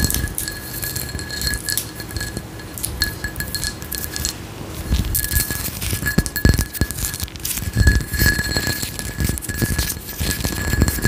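Long acrylic nails scratch and tap the geometric raised pattern of a hand-sized frosted glass candle jar with a white lid, apparently filled with wax. Quick, dense clicks and raspy scratching run throughout, with bright glassy ticks and a faint steady tone in the background.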